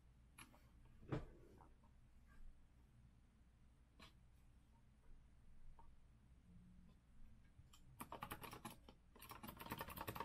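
Fingertips of both hands type on a compact retro Azio mechanical keyboard with a rose-gold metal frame and round plastic keycaps, resting on a wooden desk. A few scattered, quiet key clicks over a low background hum give way after about eight seconds to dense, rapid bursts of bright clacking keystrokes.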